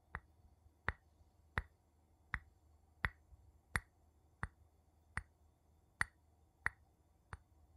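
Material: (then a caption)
Glass, wood. A wooden spoon taps on a glass object for ASMR, making 11 short, dry taps at a slow, slightly uneven pace. Each tap has a clear tone near 1.9 kHz with a bright edge and dies away almost at once, over a faint low hum.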